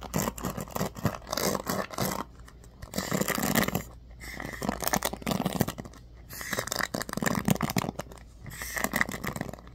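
A handheld bamboo paddle hairbrush with a black cushion pad and ball-tipped pin bristles is scratched and strummed by fingertips and nails. Bursts of dense, crackly scratching and flicking alternate with brief quieter pauses, with bright, brushy texture throughout.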